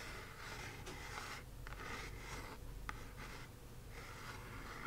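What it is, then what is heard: Kraft cardboard box, scratched. Long acrylic nails scratch and trace across the front of a small, hollow, square kraft cardboard box printed "Magic Delivered." Soft, dry rasping strokes come in bursts with brief pauses, carrying a papery hiss over a low, steady background hum.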